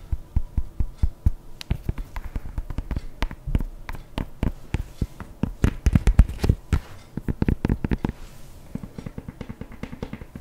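Long painted nails tap and scratch the leather upper of an empty, hollow white leather sneaker with laces, held sideways in one hand. Rapid, dull, low-pitched taps with very short decay come in dense irregular bursts, mixed with softer scratching, and the tapping quickens and thickens toward the middle.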